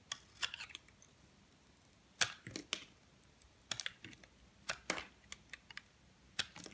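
A metal blade shaves and scrapes strips off a solid purple soap bar held in the hand. The result is a series of short, crisp, bright scraping crackles and clicks, spaced unevenly. Each dies away almost instantly over a quiet background.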